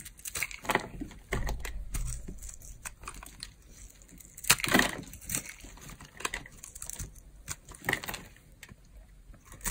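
A metal blade carves into a pink, very dry, old bar of solid soap held in the hand, shaving off crunchy pieces. Dense, dry crackling and scraping crunches run throughout, with a bright, gritty edge and a few louder cuts.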